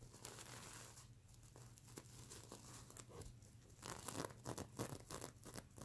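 Long nails scratch and rub across the flip plastic sequins on a stuffed mermaid unicorn sequin plush pillow. It makes a dry, crinkly rustle with bright clicking and tearing-like edges, with quicker and louder bursts in the second half.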